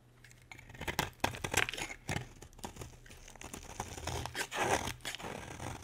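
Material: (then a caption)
Soap. A solid, dry green bar of soap, held in a hand with long red nails, is carved with a metal utility blade. Crisp, bright scraping and cutting strokes crackle in quick, uneven bursts over a faint low steady hum.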